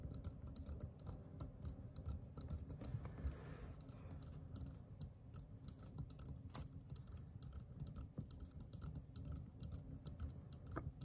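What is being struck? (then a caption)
Metal aerosol spray can. A hand-sized green metal aerosol can of Discover deodorant, hollow and pressurized, is held in one hand and tapped with the fingertips and nails of the other. A steady, quiet stream of rapid, light taps continues throughout, with soft, dull, low-heavy knocks and short ticking clicks that die away almost at once.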